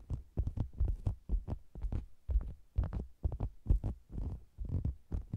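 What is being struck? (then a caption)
Faux leather cosmetics bag. Long green-nailed fingers tap and scratch the sides of a round red and zebra-print faux leather cosmetics bag, which is hollow with the mic inside. The result is a quick, irregular run of deep, muffled thumps with soft scratchy rustles between them. Each thump dies away almost instantly, with nearly no bright content.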